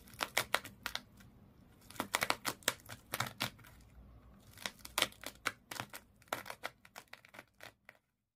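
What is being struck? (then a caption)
Fish toy wrapped in twisted sisal rope. Long nails scratch along the coils of colored twisted sisal/jute rope wrapped around a small fish toy lying flat. The result is a rapid series of sharp, dry, bright rasps in uneven bursts with short pauses between them, each cutting off almost instantly.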